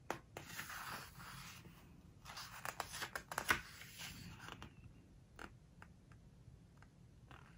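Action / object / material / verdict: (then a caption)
scrape / glossy paper book pages / glossy paper / none. Fingertips turn a glossy page of an open book and rub it flat. The result is a quiet, dry rustle and scrape of paper with a few sharp crinkling snaps, fading to faint scattered ticks as the page settles.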